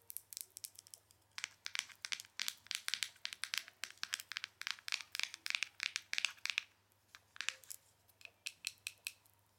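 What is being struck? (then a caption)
Small plastic powder jar. A small, round, clear plastic jar full of loose powder, with a plastic lid, is tapped and scratched on the lid and sides with long nails. The result is a rapid series of sharp, dry, bright clicks and scratchy taps in irregular bursts with almost no ring, over a quiet low hum.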